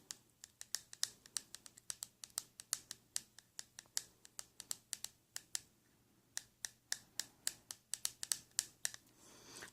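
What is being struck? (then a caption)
Plastic spray bottle. A plastic spray bottle is tapped in a quick, uneven series of about forty short, bright, dry clicks with no ringing, broken by a brief pause before the tapping resumes. Near the end, the taps give way to a soft, rising rustle. This kind of plastic gives the tapping its own distinct sound.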